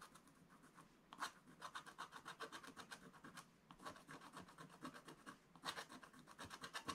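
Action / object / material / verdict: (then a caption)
scrape / coated scratch-art paper scraped with a wooden stylus / coated paper / none. A wooden stylus scratches fine strokes across a black-coated scratch-art card page in a spiral book. It makes a quiet run of short, dry, rasping strokes with a bright, papery hiss and little low end, a few strokes landing louder than the rest.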